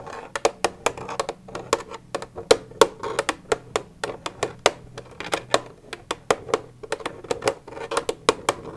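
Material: Plastic.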